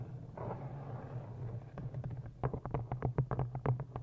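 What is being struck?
Cloth-bound hardcover book.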